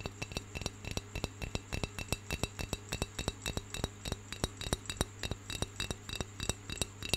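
Fingernails of the right hand tap rapidly on the curved side of a round, hollow, unglazed brown clay pencil holder held in the left hand. About 42 quick, slightly uneven taps sound as dry, bright clicks around 3.8 kHz that die away almost instantly, over a steady low hum.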